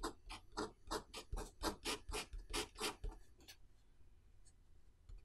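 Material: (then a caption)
Paper. A pen writes characters on the page of an open paper notebook lying on a desk, while the other hand holds the page flat. A quick, steady run of short, bright scratching strokes lasts about three and a half seconds, then fades to near silence with only a few faint light scrapes.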